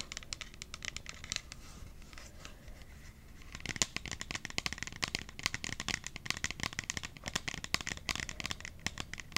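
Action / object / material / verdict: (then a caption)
tap / hard plastic water bottle / plastic / none. Long acrylic nails tap and scratch the curved sides of a hard plastic kids' water bottle with a purple lid and Disney princess print, held in both hands and looking hollow and probably empty. Soft, scratchy clicking fills the first few seconds, then gives way to a denser run of quick, bright, dry taps that stop instantly with no ring.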